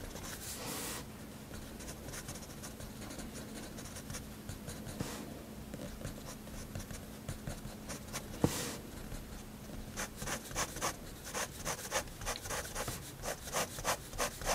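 A fineliner pen nib scratches dense hatching strokes into a flat white spiral sketchbook page, making soft, bright, papery scratches over a faint steady low hum. The strokes grow quicker and more distinct in the second half, becoming a rapid, uneven run of short scratching bursts.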